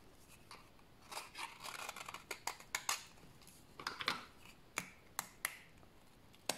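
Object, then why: Bar of soap scraped with a knife blade. A solid, dried brown bar of soap is shaved with a utility knife blade and then broken apart by hand. Bright, dry scraping and crackling bursts come first, followed by sharp, separate snapping clicks as the soap breaks.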